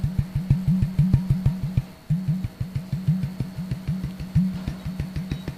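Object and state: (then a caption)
Empty plastic bottle. Fingertips tap rapidly on the neck and shoulder of an empty, hollow, clear plastic Sodastream bottle of about 1 liter, with the cap off and a hand hovering over the opening. Each tap gives a short, low, hollow thud with a resonant tone near 133 Hz that dies away quickly. The loosely regular run of taps pauses briefly around the two-second mark.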